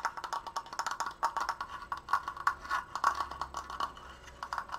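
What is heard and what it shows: Fingernails tap rapidly on a large, open, triangular wooden triforce frame made of slats and held upright, moving between the apex and the sides. The result is a quick, uneven run of dry, hollow wooden clicks, centered on a mid-range knock around 1.1 kHz with bright edges. Each click stops almost instantly.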